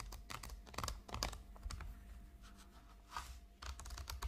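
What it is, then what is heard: Plastic makeup palette tapped with nails. A flat, hollow, rectangular makeup palette shaped like a chocolate bar, with a shiny gold metallic plastic finish, lies on a pink tablecloth and is rapidly tapped and scratched with the long acrylic nails of both hands. Quick, irregular clicky taps and scratchy strokes land in uneven bursts. Each tap cuts off short with little ring over a low hum.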